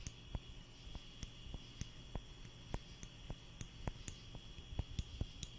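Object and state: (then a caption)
Wooden clothespin clicking. A small wooden spring clothespin is held by the fingertips and squeezed repeatedly right beside the microphone. It makes a series of sharp, dry clicks that die away almost instantly, over a low background rumble and a faint steady tone near 3 kHz.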